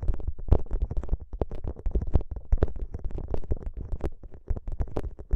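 Fingertips press, squeeze and rub a soft, flexible plastic gel bead ice pack, a clear plastic pouch filled with green gel beads, draped over the microphone. A dense, irregular run of short, low, squishy pops and crackles is heard, with deep muffled thumps and occasional brighter clicks.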